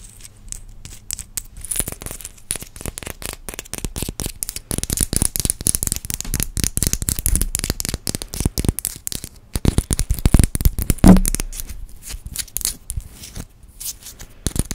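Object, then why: Painted wooden maraca with beads inside. A small yellow painted wooden maraca with coloured dots, a hollow shaker head with beads inside and a wooden handle, is tapped and scratched with long orange acrylic nails and turned in the hands close to the microphone. Dense, rapid dry clicks and scratchy taps mix with soft bead rattles and low, muffled thumps, with a louder knock near the eleven-second mark.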